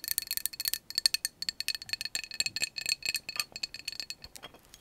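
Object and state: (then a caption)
Glass drinking jar tapped with nails. A glass can-shaped drinking jar with a bamboo lid, a glass straw and a little liquid at the bottom is held in the hands and tapped on its glass sides with long acrylic nails. A rapid, uneven run of bright, thin clicks and clinks follows, each with a faint high ring that dies almost instantly. There is no low-end body to the sound.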